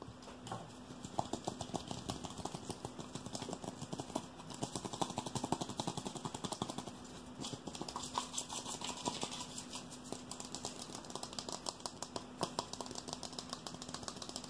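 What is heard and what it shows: A small, hollow, empty black plastic hair-dye mixing bowl with a handle is tapped and scratched quickly with fingertips and nails. The result is a dense stream of fast, sharp, light clicks and scratchy rasps with a bright edge and almost no ring, over a faint steady low hum.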